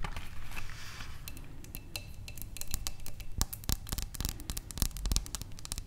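Long nails tap quickly on the walls of a wide, clear glass vase holding tulip stems on a table. The taps are sharp, bright clicks that die away almost at once, over a steady low rumble.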